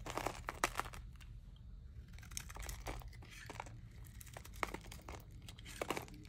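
A metal knife blade scrapes and shaves the surface and corners of a dry, solid, rectangular green Haci Sakir glycerin soap bar, about palm-sized and held in one hand, lifting off pale curls and flakes. Crisp, crunchy scraping strokes and crackling shaves come in short bursts, with a few sharper snaps standing out. A soft low rumble sits underneath throughout.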